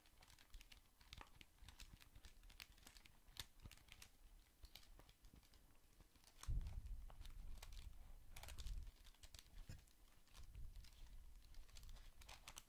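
A handheld, solid black plastic scientific calculator is held close to the mic while fingertips press and tap its buttons. The result is a steady stream of short, dry, keyboard-like clicks with bright edges. Louder low, muffled handling thumps swell in the middle and again near the end.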